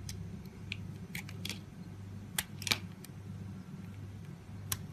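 A palm-sized, solid, translucent green oval glycerin soap bar is held in the hand and scraped and cut with a red-handled utility knife blade. Short, bright, crisp scraping and cutting clicks come in scattered bursts, a few standing out sharper than the rest, over a steady low hum.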